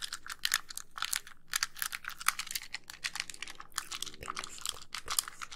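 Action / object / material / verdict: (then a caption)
tap / plastic handheld game console / plastic / none. Long nails tap rapidly on the shell and buttons of a white, hollow plastic handheld game console that is moved close to the microphone. Dense, dry, bright clicks with very short decay run continuously, sounding much like typing on a keyboard.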